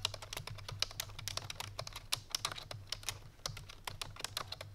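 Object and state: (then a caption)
Plastic computer keyboard being typed on. Fingertips and painted nails of both hands type quickly on a full-size black plastic computer keyboard resting on a white fur rug. A rapid run of around thirty sharp, bright plastic clicks sounds over a steady low hum, each keystroke cutting off almost instantly.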